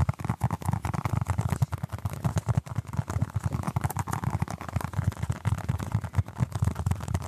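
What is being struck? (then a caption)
Soft foam stress ball. A small orange basketball-patterned stress ball, apparently made of solid soft foam, is held in both hands close to the microphone and scratched and tapped with the fingertips and short nails. The result is a steady stream of quick, muffled, low thumps with soft scratchy rustling between them, with almost no high or bright content and no ringing after each touch.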